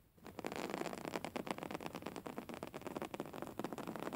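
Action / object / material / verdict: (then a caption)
scrape / woven fabric pillow / fabric / none. Fingernails scratch and tap across the weave of a soft, filled grey woven-fabric pillow. A dense run of dry, crackly scratches and light taps follows for about four seconds, with most of the sound in the midrange and little low end.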